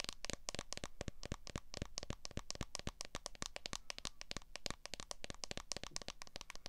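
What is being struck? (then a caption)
Smartphone in a plastic case. Long fingernail tips tap rapidly on the back of a smartphone in a solid clear plastic case, producing a fast run of about 44 short, crisp clicks. Each tap is dry and dies away almost instantly, with a bright, snappy edge.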